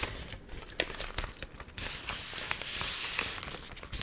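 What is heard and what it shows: A stiff, warped, water-wrinkled paper magazine that has dried is held close to the mic while its pages are squeezed, bent and crinkled by fingers and long nails. Dense, bright, crackly crinkling fills the clip, with sharp snaps scattered throughout and a fuller, steadier rustle through the middle before it thins out again.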